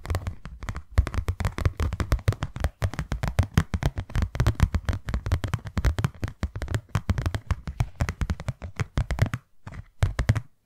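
Long nails tap rapidly on a closed, empty, hand-sized white cardboard box, producing a fast stream of dry, hollow thuds. The taps are dull and low-pitched with almost no ring. They run almost continuously before thinning into a few spaced taps near the end.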